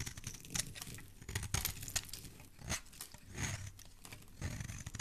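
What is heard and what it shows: A metal blade repeatedly scrapes and carves shavings off the edge of a solid green bar of soap held in a hand. The strokes make crisp, crunchy scraping and tearing sounds with a bright hiss over a soft, low body. Each pass rises and fades quickly in an uneven rhythm, and there are no voices.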